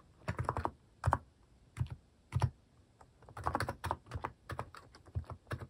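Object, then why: Plastic mechanical keyboard with plastic keycaps. Fingertips type on a white-case Hanmumu mechanical keyboard with pastel plastic cat-shaped keycaps, producing bursts of quick, overlapping keystrokes separated by short pauses. Each press is a short, dry clack with a deep, thocky low end and almost no ring.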